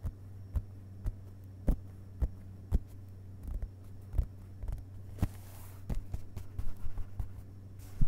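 Fingertips of one hand briefly tap on the printed paper pages of an open hardcover book resting on carpet. Soft, dull, short taps come at an uneven pace, some in quick clusters, over a steady low hum.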